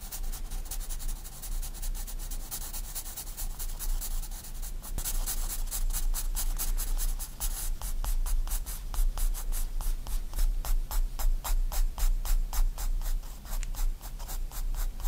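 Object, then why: Graphite pencil on paper sketchbook page. A 4B pencil makes rapid short hatching strokes across a white paper sketchbook page lying flat, each stroke a bright, dry scratch. The strokes start steady and quick, then speed up into sharper, more distinct scratches in the second half, over a constant low hum.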